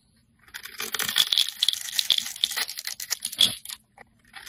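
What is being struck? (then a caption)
Soap bar cut with a metal blade. A metal blade slices and scrapes a solid multicolored bar of soap, blue, white, purple and pink, held in the hand, shaving off flakes that fall away. A dense run of crisp, bright scraping and crackling with sharp little snaps rises after a quiet start, then thins out and trails off toward the end.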